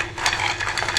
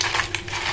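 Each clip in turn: First: crispy fried boondi. Second: crisp fried gram-flour boondi.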